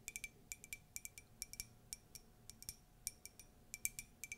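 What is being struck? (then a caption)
Ceramic mug. Light, rapid taps on a Disney ceramic mug give quick, bright clinks with a short ring near 2.3 kHz. The taps come in uneven bursts of one to three at a time, with a faint hiss between them.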